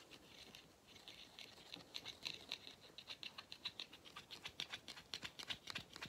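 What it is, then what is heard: Rubber end cap of vacuum cleaner filter. Fingernails rapidly tap and scratch the black rubber end cap of a hollow vacuum cleaner filter. The result is quiet, bright, dry ticks and scratches with almost no low end, centered around 3.5 kHz. The taps come at an uneven pace and become sharper and more distinct in the second half.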